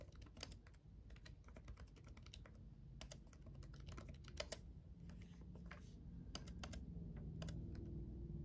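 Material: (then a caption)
Plastic. Fingertips of both hands type on a black laptop keyboard with red backlit plastic keys. Quick, irregular, bright clicks patter over a low, steady background hum.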